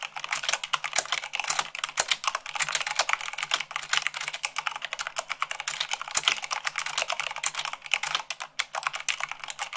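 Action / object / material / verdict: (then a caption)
tap / plastic mechanical keyboard / plastic / none. Fingertips with long nails type fast on a black mechanical keyboard with white plastic keycaps. A dense, continuous stream of sharp, bright plastic clicks and clacks with very short decay fills the clip, over a faint low hum.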